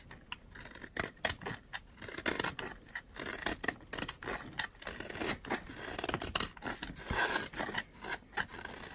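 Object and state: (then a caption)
Dry soap bar being shaved. A metal utility knife blade shaves along the edge of a solid, dry green oval soap bar, cutting off dry, crumbly curls. The clip is a rapid run of short, crisp scraping strokes with a bright, papery crackle and almost no low end. Each stroke stops dead, with no ring.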